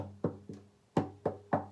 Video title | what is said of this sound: Cello Maintenance | if you hear a very hollow sound then everything's fine